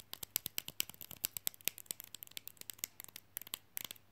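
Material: Plastic.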